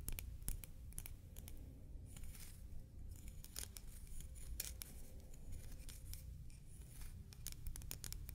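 Large buttons made of shell, glossy on the front and textured on the back, are traced, tapped and scratched with the nails. Quick, dry, bright ticks and scratchy strokes sound over a steady low hum, each tap dying away almost at once.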